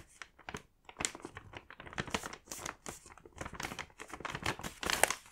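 A medium-size mint paper gift bag with a Moomin print, filled with candy packs, has its top flap folded and pressed down by fingertips. The paper creases and rubs in a quick run of dry, bright crinkles and crackles with little low end.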